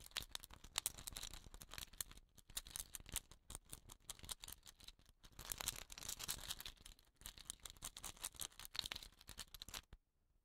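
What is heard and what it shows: A hollow, dot-painted wooden rain stick with a woven rattan end cap is held and tilted while fingernails tap and scratch its painted surface. The result is a dense stream of quick, bright, dry clicks and scratchy rattling that swells and thins in waves for about ten seconds, then stops abruptly into silence.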